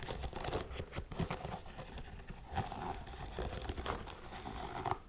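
Long nails scratch the suede and the laces of a hollow, empty tan suede lace-up heeled boot held in the hands. The result is a continuous dry, crinkly rustle with short scuffing bursts and no ringing.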